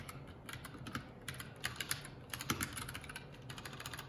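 Fingertips of both hands type continuously on a Keycool K84 75% mechanical keyboard with plastic keycaps. The result is a steady stream of quick, bright clicky key taps with a soft low thock underneath, with a few louder strokes standing out.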